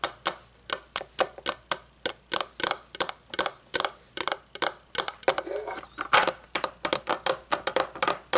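A round, shiny, hollow metal candle lid, first held and then lying on a wooden table, is tapped rapidly with long fingernails. Crisp, bright clicking taps follow each other quickly, each with a short metallic ring around 850 Hz. Around the middle, the taps run together into a denser, scratchier flurry before separating again.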